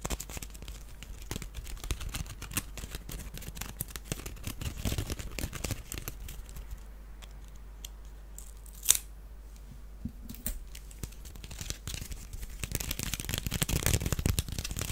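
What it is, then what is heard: Wicker basket scratched and tapped. A small, hollow, empty woven wicker duck basket is turned in the hands while fingernails scratch and tap across its weave and base. Dense, dry crackling scratches and quick clicky taps run throughout, easing off in the middle before one sharper tap, then building again toward the end.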